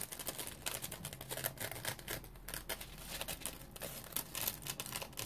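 Fingernails scratch the bumpy surface of a dry, round, hand-sized yellow porous polymer-foam scrub sponge with a smiley face. A quiet, continuous run of rapid, bright, raspy scratching strokes rises and falls over a faint low hum.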